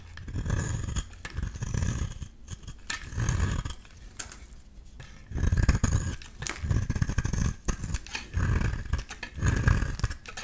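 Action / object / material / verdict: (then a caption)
scrape / solid bar of soap shaved with a metal blade / soap / none. A solid rectangular beige bar soap is shaved with a metal utility-knife blade into curly shavings, giving repeated low, rough scraping strokes in bursts with brief crisp edges and short pauses between them.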